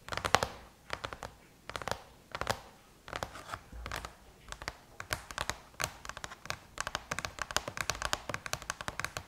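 Long chrome-painted nails tap rapidly on the closed silver aluminum lid of a MacBook, producing quick, dry clicks in irregular bursts. Each tap is short and bright with almost no ring, with small pauses between clusters.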